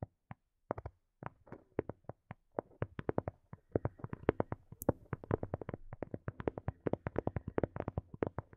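Long nails tap the shell of a small, hollow, black hard plastic earphone case. Dry, hollow clicks start sparse and irregular, then grow into a quick, dense patter, with one brief high squeak midway. Each tap is short with no ringing.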